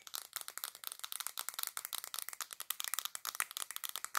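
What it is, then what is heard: Glass perfume bottle tapped with nails. Long black nails tap rapidly on a black glass perfume bottle with gold decoration held in both hands. About 29 quick, dry, bright clicks follow one another, with no low end and almost no ring, in a steady rattling stream.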